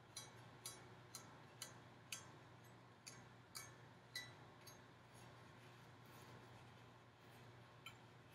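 A hollow, gold-finished decorative metal pumpkin with ribbed segments and a wire stem is tapped with long painted nails. Ten short, bright metallic clicks with very brief ring are heard, coming in an uneven rhythm over a steady low hum.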